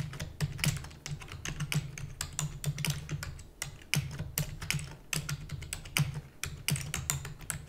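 Fingertips with long natural nails type rapidly on a full-size black plastic computer keyboard with plastic keys and a hollow housing. A dense, uneven stream of short, bright clicks and clacks sits over a low, hollow thump from the housing. Each keystroke dies away almost instantly.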